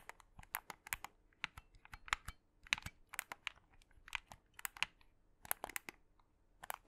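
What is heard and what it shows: A black, hollow plastic Xbox 360 controller is held in both hands close to the mic while fingertips and short nails press and click its buttons and triggers and tap its shell. About two dozen quiet, sharp, bright clicks and taps come in an irregular stream. Each one is dry and stops instantly with no ring.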